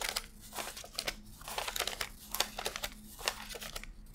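Fingertips flick and rub thin US $100 paper bills one by one from a handheld stack, laying them onto strapped stacks. The result is a run of quick, bright, crisp paper crinkles and rustling snaps with almost no ring, over a faint steady low hum.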